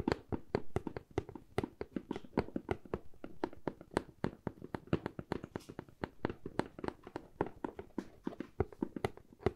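Long fingernails tap and scratch the side of a medium, hollow corrugated cardboard box in a quick, uneven series of dozens of short, dry taps. Each tap has a hollow, woody thump around 390 Hz and almost no ring. Soft scratching fills the gaps between the taps.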